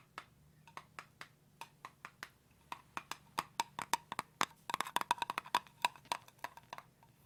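A jar of almond butter is tapped repeatedly, producing short, dry, wood-block-like knocks with a faint ring near 960 Hz. The taps start evenly spaced, then grow louder and come in quicker, irregular bursts before slowing again, for about 29 taps in all.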